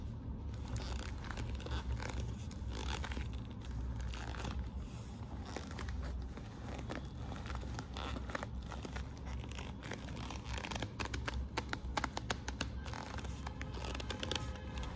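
Long nails on both hands scratch and tap across the glossy burgundy quilted patent faux-leather flap of a hollow handbag with metal studs. The result is a steady crinkly, scraping rustle over a low, hollow rumble. Sharper, brighter clicks and taps cluster toward the end.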